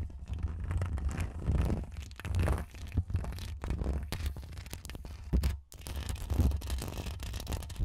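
Long acrylic nails on both hands scratch the hollow, woven metal mesh grille of a bare Rode NT1 condenser microphone. The result is a dense, continuous scratching and rustling with a heavy, boomy low rumble and little brightness, swelling and fading in waves, with a brief near-silent gap just before the six-second mark.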